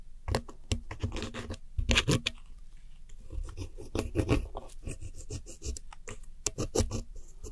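A red-handled metal hook tool scratches the blue pressed powder eyeshadow wedges in a round white plastic palette, scattering crumbs. Irregular bursts of dry, gritty scraping and crumbling repeat throughout, with a low thump under each stroke and bright, crackly texture on top.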